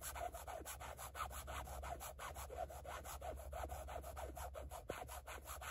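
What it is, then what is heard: Carbon fiber textured plate. Long fingernails scratch a rigid black carbon-fiber patterned plate in short, quick strokes. Each stroke gives a dry, raspy scrape with a bright edge, repeating in a loose, uneven rhythm over a steady low hum.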